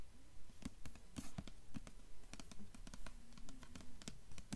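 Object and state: Hardcover book with paper jacket, tapped and scratched.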